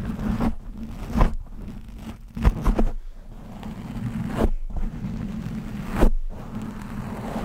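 Fingernails scratch fast and aggressively across the top and sides of a black foam windscreen on a microphone. The result is close, bassy scraping and crunching rustles over a steady low hum, with several sharp, louder scratches standing out.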